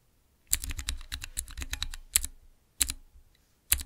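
Fingertips press the transparent keycaps on a small clear acrylic Cherry MX mechanical keyboard switch tester. A quick run of sharp, bright clicks with a low thock under each press is followed by three spaced single presses. Each click dies away almost at once.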